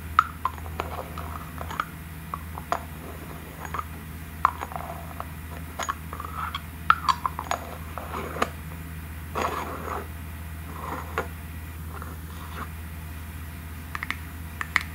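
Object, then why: Small thick glass jar with metal lid. Long nails tap a small, thick, clear glass cream jar with a gold lid, striking both the glass and the lid. The result is a series of short, bright clinks and taps with almost no ring, over a steady low hum.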